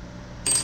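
A genuine 24K (99.999% pure) gold Canadian Maple Leaf coin with King Charles III on the reverse, taken out of its assay card, is dropped or struck after a quiet stretch of low hum. It gives a short, bright metallic ring with a thin high tone that fades within a fraction of a second, the sound of a real gold coin.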